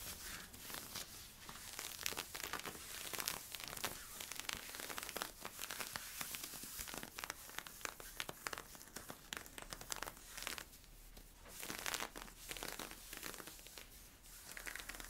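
Fingertips and nails scratch worn camo polyester-spandex stretch leggings, first at the hip and then at the front waist. The result is a steady run of bright, crinkly scratching strokes with a rough, papery rasp, easing briefly into quieter stretches between bursts.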